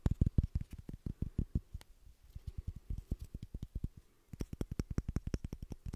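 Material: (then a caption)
Wood. A small rectangular wooden beard brush with a solid light-wood back and black bristles is held in both hands while fingertips and nails tap and scratch the wooden back. A fast run of short, dry, low thuds and faint scratches rattles on, eases off, pauses briefly near the four-second mark, then picks up again.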